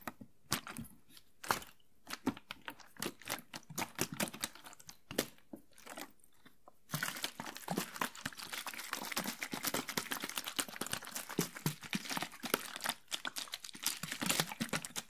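A clear, thin-walled PET water bottle, mostly empty, is held in both hands and squeezed and crinkled with the fingers. For the first seven seconds there are separate bright crinkles and crunches with short quiet gaps. After that the crackling turns dense and continuous until the end.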